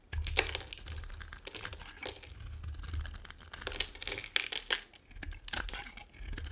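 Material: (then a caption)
Soap. A metal blade carves and scrapes chunks and flakes off a solid, dry, two-tone pink and white bar of soap held in the hand. Dense, crisp crackling and crumbling scrapes come in quick bursts with bright, high edges over a low steady rumble.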